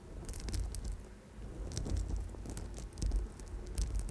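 An amethyst chip bracelet with a gold wire center is held against the microphone while long nails rapidly tap and scratch over its purple stone chips. The result is a dense, crinkly patter of small bright clicks and scrapes over a heavy low rumble, swelling and easing throughout.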